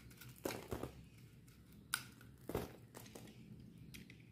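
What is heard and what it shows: A solid bar of dry soap with a red painted coat is held in the hand and shaved with a metal utility knife blade, exposing the purple soap underneath. Quiet, dry crunching and crinkling scrapes come in short bursts with a bright edge and no ring. A sharp click lands near the middle of the clip.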